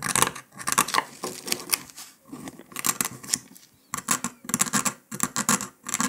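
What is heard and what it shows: A metal needle scratches and picks along the cut line of a brittle brown dalgona honeycomb sugar candy disc resting on paper. Dry, bright scratching and crackling comes in quick bursts separated by short pauses, with almost no low end and no ring after each pick.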